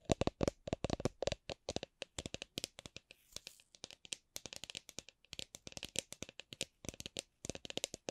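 A drink shaker is tapped gently, giving dozens of short, dry taps with a faint ringing tone around 650 Hz that dies away almost at once. The taps come in uneven clusters, some quick runs and some slower single taps, with a brief soft rustle in the middle.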